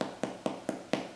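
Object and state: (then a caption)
Baked-through bread loaf (hollow). A freshly baked bread roll, baked about 35 minutes at 375 degrees and cooled a little, is tapped five times on its underside. Each tap is a short, dull, hollow knock with a low-mid tone that dies away quickly. The hollow sound shows the bread is cooked through.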